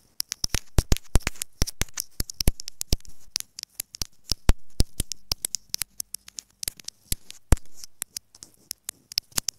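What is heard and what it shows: Long nails rapidly tap and scratch a small white plastic inline microphone housing on an earphone cable lying on fabric. Sharp, bright clicks come in quick, uneven bursts, with soft scratchy swells and a low, muffled thump between them.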